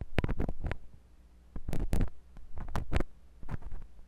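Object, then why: Silicone ear of a binaural microphone scraped by a metal tip. A metal drill-bit tip on a wooden handle twists and scratches inside the canal of a white silicone binaural microphone ear. It makes bursts of deep, muffled, pressure-heavy scraping and rumbling, mostly very low in pitch, separated by brief quiet gaps over a steady low hum.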